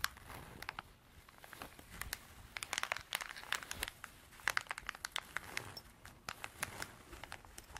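Long dark artificial nails scratch a small cream canvas zippered pencil pouch, soft and hollow. The result is a quiet, dry crinkling and rasping texture scattered with many sharp, bright clicks and scrapes that stop instantly with no ring.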